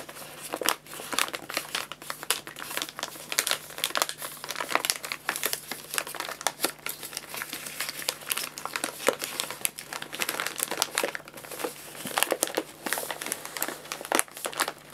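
Hands unfold and fold the paper top of a filled white paper bag of guinea pig food and rub it with their fingertips. The result is a continuous stream of dense, bright crinkles and crackles with sharp, short snaps, over a faint steady low hum.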